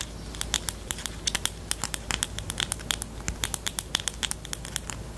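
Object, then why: Plastic highlighter pen. Long nails tap rapidly on the body of a pastel pink plastic highlighter pen with a black cap, making about three dozen quick, dry clicks over five seconds. Each tap is short and bright, centred around 3.4 kHz, with a faint low hum underneath.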